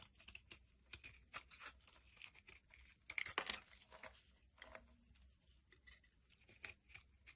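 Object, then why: Bar of soap. A utility blade scrapes thin flakes off the top of a solid pink bar of soap held in the hand. The result is a quiet string of short, dry, crisp scraping and crackling strokes, mostly bright and high with little low end. The scraping grows loudest and densest around the middle of the clip.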